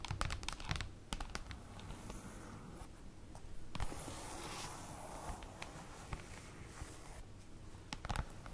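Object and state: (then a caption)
Cardboard folder tapped with fingernails. Long acrylic nails tap and scratch across the printed surface of a large, flat black printed paper or cardboard folder resting on a table. Quick, light clicks and dry scratches come in uneven clusters over a soft, low rumble. A brighter, hissing rub runs through the middle of the clip.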